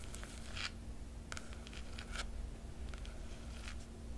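A long nail traces the silver foil dragon emblem on the black cloth cover of a large hardcover book. Quiet, bright, dry scratching strokes come in short bursts over a low, steady hum.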